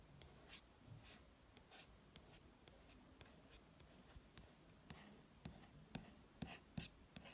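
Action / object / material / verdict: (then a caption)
scrape / glossy paper magazine cover / coated paper / none. Fingertips trace and rub across the glossy paper cover of a magazine, producing a quiet, continuous papery hiss. Short, sharp ticks and taps rise above it at irregular intervals, with bright clicks that stop almost instantly.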